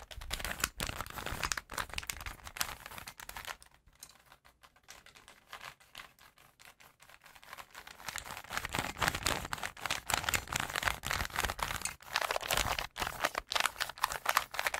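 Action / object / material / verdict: scrape / plastic puzzle cube / plastic / none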